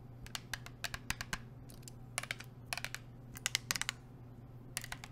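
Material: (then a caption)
Plastic. A blue plastic sports water bottle with a black cap is tapped with long nails in quick, uneven bursts. Each tap is a short, bright click that stops almost at once, over a steady low hum.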